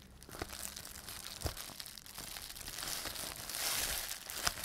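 A rolled strip of clear plastic bubble wrap is held in both hands while the fingers twist and squeeze it, popping the air-filled bubbles. Bright, dense crinkling and crackling runs throughout, with irregular sharp pops that stand out, including louder snaps near the middle and the end.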